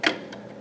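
A Lego brick box with a minifigure inside is shaken to hear whether the minifig is loose or attached. Two short, bright plastic clicks are heard, a sharp one followed by a fainter one, with little ring.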